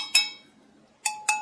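A piece of 800 fine (continental) silver flatware is tapped three times, giving sharp, bright metallic clinks with high ringing overtones that fade quickly. It is real silver, and it sounds much sharper than a fake piece.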